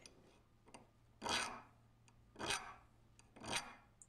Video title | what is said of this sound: How to use Rockwell Hardness Files for knife making | Listen to the dull tone of that file. That's a 40C on the Rockwell scale.